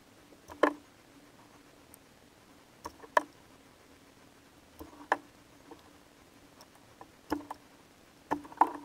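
A metal box-cutter blade carves thin slices from the surface of a palm-sized solid bar of soap coated in purple glitter, held in one hand. Short, crisp scraping and cutting strokes come in brief clusters separated by quiet pauses, each dying away almost instantly over a faint steady background hum.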